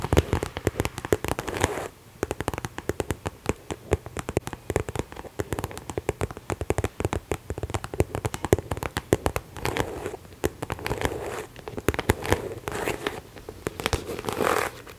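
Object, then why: Croc-embossed faux leather handbag. Long nails tap rapidly across the front of a small, hollow, pink croc-embossed faux leather Aldo top-handle handbag held up in both hands. The result is a dense, irregular stream of short, dry clicks and crackles with a dull, hollow thump, each dying away almost instantly. Around ten seconds and again near the end, the taps blur into softer, continuous scratching.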